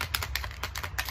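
A purple plastic Easter egg with a dime inside is shaken, producing quick, bright rattling clicks as the coin knocks against the plastic shell. A steady low hum sits underneath.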